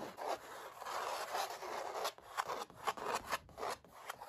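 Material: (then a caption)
Canvas. Short dark-painted nails and fingertips scratch and rub the textured paint of a large stretched oil painting of puppies, thin taut canvas over a hollow frame, with a metal butterfly ring worn on one hand. Dry, raspy scraping strokes come in quick bursts, centered in the midrange with a bright hiss on top and almost no low end.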